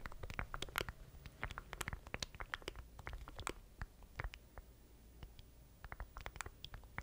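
Fingertips tap and scratch the rubber button keys and casing of a small, solid black plastic stream deck controller held in both hands close to the mic. Rapid, dry, clicky taps with bright edges ring only briefly over a soft low rumble and scratchy rustle. The tapping thins to a quieter patch midway before picking up again.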